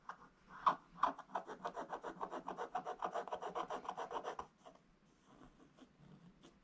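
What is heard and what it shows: A wooden stylus scratches fast fill strokes into the red sack area of a flat, black, wax-coated scratch-art paper page. About twenty vigorous, dry, raspy strokes come in a quick, uneven run, then give way to fainter, sparser scratches.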